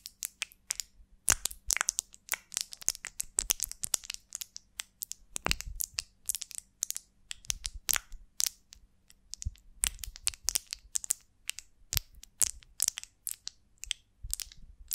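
A large golden beeswax honeycomb on a twig is held and turned in both hands while long nails scratch and tap its wax surface. Quick, dry, bright crackling clicks come in dense irregular bursts, with a faint low hum underneath.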